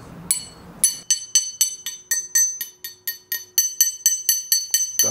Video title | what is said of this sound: Wie man eine Trompete baut - SWR Handwerkskunst | You can hear that it's right there because it simply resonates.